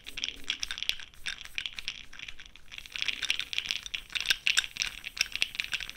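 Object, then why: Plastic jar of cosmetic powder pearls. A makeup brush swirls inside a small clear plastic jar filled with cosmetic powder pearls, held close up by a hand with long pink nails. The pearls give a dense, bright rattling and clicking, made of many fast, crisp ticks with almost no low end.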